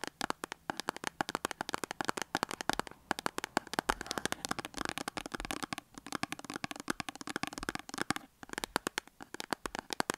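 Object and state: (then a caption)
Cardboard soap box. Long acrylic nails rapidly tap and scratch a small cardboard soap box with a soap bar inside, standing on a table. The result is a dense, steady stream of crisp, dry clicks with bright papery scratching between them, and each tap dies away at once. The stream pauses briefly near 3 and 8 seconds.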